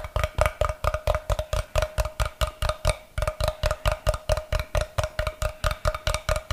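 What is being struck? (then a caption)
Block of unfinished light wood. Fingernails tap and scratch the face of a brick-sized solid block of unfinished light wood held up beside the microphone. About thirty quick, dry, hollow clicks come in a steady, slightly uneven rhythm, each with a short woody ring near 600 Hz and a thump underneath. Faint scratchy texture sits between the taps.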